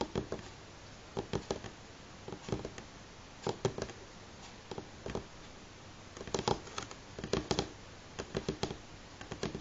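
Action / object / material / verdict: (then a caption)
tap / pine wooden tabletop / wood / none. Fingernails on both hands tap a solid light pine tabletop in quick clusters of about 29 short, dry clicks. The taps have a woody knock centered near 400 Hz, die away almost instantly, and fall into brief rhythmic bursts separated by a quiet, steady hiss.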